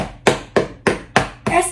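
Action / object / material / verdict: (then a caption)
tap / roasted pork skin / pork skin / crisp. Five crisp knocks on the crackly skin of a roasted pork-skin lechona "cushion" after five hours in the oven. Each is a short, hollow, dry tap that dies away quickly. The knocking sound shows the skin is crisp and the lechona is ready.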